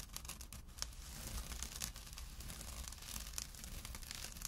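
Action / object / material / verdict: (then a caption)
scrape / small jute burlap drawstring pouch / jute burlap / none. A small, empty jute burlap drawstring pouch lying on dark cloth is scratched with short nails and fingertips. The result is a quiet, steady run of dry, bright rasping and scratching with brief sharper scrapes, over a low hum.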